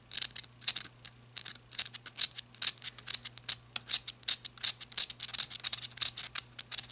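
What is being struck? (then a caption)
Ribbed rubber-gripped flashlight head. Long red nails scratch and tap the ridges of the ribbed head section on a black rubber-gripped flashlight. The result is a rapid, uneven stream of short, bright clicks and scratchy rasps that die away almost instantly, with no low body to the sound.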